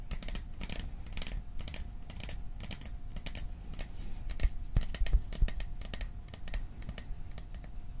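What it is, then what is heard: Metal popcorn tin. Fingertips and nails tap quickly on the sides of a hollow, cylindrical printed metal popcorn tin with a "Silent Night" design, held in both hands. The result is a fast, uneven patter of short, dry clicks and light tinny taps, with a faint steady hum underneath. A few taps land louder and sharper midway through.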